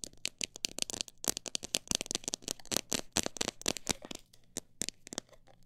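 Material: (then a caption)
Plastic. Long nails tap and scratch the sides and near the top of a clear plastic jar full of mixed bird seed. The result is a rapid run of sharp, bright, dry clicks with brief scratchy rasps, thinning out toward the end.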